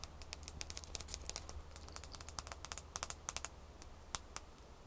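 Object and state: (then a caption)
Ice cube tapped with fingernails. Long fingernails tap quickly on a small, solid ice cube held in the fingers after it is picked up from a pile on a towel. A rapid, uneven run of quiet, sharp, bright clicks with almost no ring plays over a low, steady hum.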